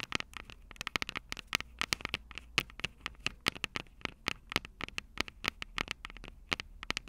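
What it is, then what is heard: Recorder microphone heads tapped with fingernails. Long purple nails tap and scratch the two silver metal mic capsules on the plastic body of a Tascam DR-05 recorder. The result is a quick, irregular run of around forty dry, bright clicks with almost no ring, separated by soft scratchy rustle over a faint low hum.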